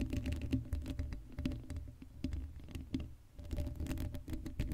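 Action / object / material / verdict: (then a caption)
scrape / steel mesh microphone grille / steel mesh / none. Long light-blue acrylic nails on both hands scratch and tap the hollow black steel mesh grille of an uncovered Blue Yeti microphone head. The result is a rapid, uneven patter of dense scratching and clicking, heavy in low thumps with a resonant hum-like tone, and brief pauses between bursts.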